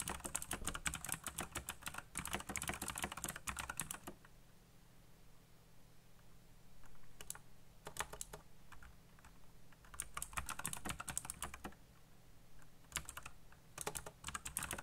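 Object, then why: Mechanical computer keyboard, plastic keycaps. A black backlit mechanical computer keyboard with plastic keycaps is fast-typed with fingertips, giving rapid clicky key presses. Dense bursts of bright, sharp clicks come in runs separated by short pauses, over a steady low hum.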